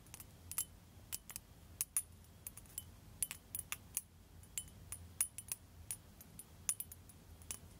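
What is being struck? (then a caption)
Liquid-filled glass globe tapped with metal nail tips. A blue liquid-filled glass facial ice globe on a glass handle is held up by the handle and tapped on the ball with long pointed metal nail tips. About two dozen short, bright, high clinks come in an irregular rhythm, each dying away almost instantly over a faint low hum.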